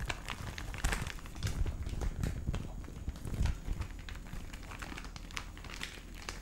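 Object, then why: Cellophane gift bag. A hand-sized clear plastic cellophane gift bag with a red ribbon, wrapped around a gift, is held in both hands and squeezed and rubbed with the fingertips near the microphone. It gives steady, dense crinkling with sharp bright crackles over a heavy low rumble, rising in a few louder bursts.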